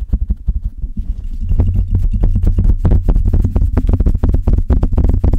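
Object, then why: Metal mesh microphone grille. Long red nails and the fingertips of both hands scratch and rub the hollow metal mesh grille of a silver Blue Yeti microphone. The result is a dense, irregular stream of quick scratchy strokes over a deep, throbbing low rumble, with short bright crackles on top. It starts softer and grows louder and busier after the first second.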